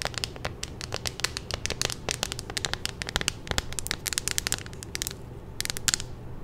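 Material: Plastic.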